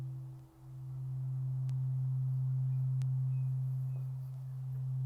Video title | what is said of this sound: Japanese Gardens | we're just going to give it one good ring and listen to it ring out